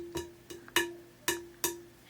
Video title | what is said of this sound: Glass Glue | it's not pinging, but it's not absolutely thunking like it was.